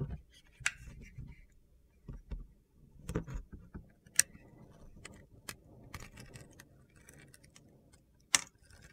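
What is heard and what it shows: A utility knife blade scrapes and carves crunchy flakes from a small solid bar of soap held in the hand; the bar has a pink-to-purple glitter gradient and is scored on top. Quiet, gritty scraping and crackling runs throughout, punctuated by a few sharp, bright clicks as flakes break away.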